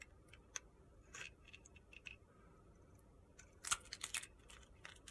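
A steel utility-knife blade scrapes the face and corner of a solid pale pink soap bar held in the hand, cutting off crumbly shavings. The quiet, bright, gritty scrapes come as short, crisp bursts that die away almost at once, and the loudest cluster arrives near the end.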